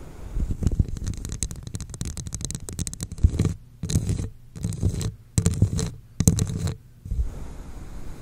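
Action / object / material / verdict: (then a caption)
scrape / textured plastic cup / plastic / none. Long acrylic nails on both hands scratch a hollow red textured plastic cup held over the mic. A dense, low, rumbling scrape runs steadily for the first few seconds, then breaks into short bursts separated by near-silent pauses.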